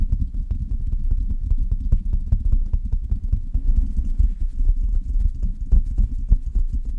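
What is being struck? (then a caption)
Metal mesh microphone grille. Long red nails tap rapidly on the hollow metal mesh grille of a silver Blue Yeti microphone, making a quick, continuous clip-clop patter. Each tap lands as a deep, boomy thump with a faint brief click on top, and the taps die away almost instantly in a steady, uneven rhythm.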